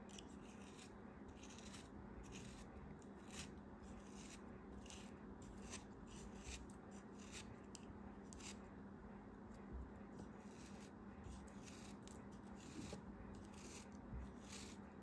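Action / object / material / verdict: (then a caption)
scrape / kinetic sand block / kinetic sand / none. A solid, molded purple kinetic sand block is held between fingers with long red nails while a craft knife blade cuts into it and scrapes off chunks. Soft, gritty crunching and scraping sounds come in short bursts over a quiet, steady low hum.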